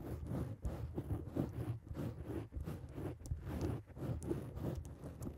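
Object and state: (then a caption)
Foam microphone windscreen. Long acrylic nails on both hands scratch and tap a black foam microphone cover. The result is a steady, muffled rustling with soft, low thumps and faint bright crackles, and the sound swells and dips throughout.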